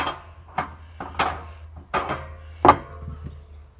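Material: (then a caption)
Steel. Six knocks on the metal gas tank under the seat of a 1919 Oshkosh truck, checked before refuelling, give short, dry, hollow raps with almost no ring over a low steady hum. The tank sounds empty, bone dry.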